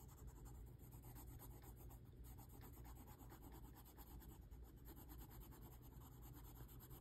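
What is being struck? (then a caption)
Wax crayon on a paper sheet. A hand holding a dark wax crayon scratches dense hatching strokes into a flat white paper sheet resting on a table. A steady, continuous scratchy rubbing repeats in quick strokes over a constant low rumble, holding an even level for the whole clip.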